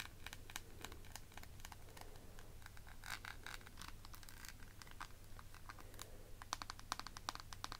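Long nails tap the lid and scratch the beaded border of a clear plastic eyeshadow palette case, a small, rectangular, hollow, faceted clear plastic compact. Quiet, rapid, bright clicks and dry scratching crackle in quick bursts, growing sharper and more distinct toward the end. A steady low hum runs underneath throughout.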